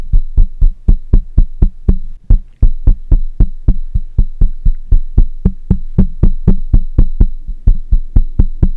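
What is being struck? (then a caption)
Metal mesh microphone grille. Fingertips and nails of one hand tap the hollow metal mesh grille of a black microphone, producing about 34 quick, deep, boomy thumps at roughly four per second in a loosely steady rhythm. Each tap is short with almost no ring, and a faint steady high whine runs underneath.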